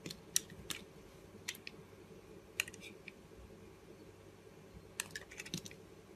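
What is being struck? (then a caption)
Bar of soap cut with a blade. A box-cutter blade slices thin curls off the edge of a solid blue Arko bar soap held in the hand. Each cut makes a short, crisp, bright scrape or click, coming at irregular intervals over a quiet background.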